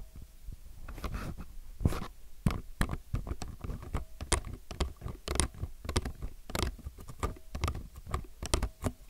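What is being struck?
Low-profile mechanical keyboard with plastic keycaps.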